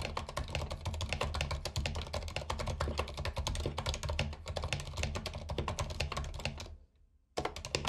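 Fingertips of both hands type rapidly on a compact white mechanical keyboard with plastic keycaps and RGB backlight, resting on a carpet. Dense, fast key clicks have a bright top and a strong low thock. Near the end the typing stops for a brief silence, then resumes.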